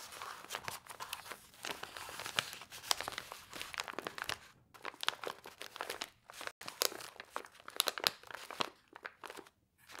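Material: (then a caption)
Paper foil. Long white nails and fingertips tap, press and scratch across a pile of small, flat laminated paper-foil soup sachets filled with dry soup powder, lying in a bowl. The result is a dense run of bright, dry crinkles, crunches and sharp clicks with almost no low end, broken by a few brief silent gaps.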